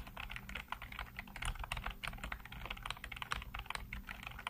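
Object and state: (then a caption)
Plastic computer keyboard being typed on. Fingertips type rapidly on a black plastic backlit computer keyboard, producing a dense, steady stream of short, dry clicks and taps centered in the midrange with some bright edges. A faint, steady low hum runs underneath throughout.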